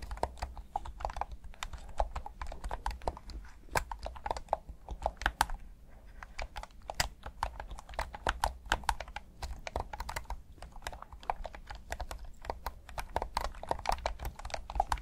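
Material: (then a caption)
Plastic. Thumbs rapidly click the buttons of a hand-sized, hollow black plastic PS5 DualSense controller in Midnight Black. Dense, short, dry plastic clicks with a midrange tone and sharp bright edges tumble over one another throughout, above a steady low hum.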